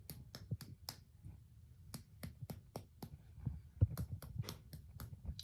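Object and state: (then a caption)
Tympanic (hollow-sounding) abdomen on percussion. A series of quick percussion taps on the left upper quadrant of a human abdomen produces short, soft, hollow thuds centered low around 100 Hz, each with a faint sharp click on top. The abdomen sounds tympanic, a normal finding.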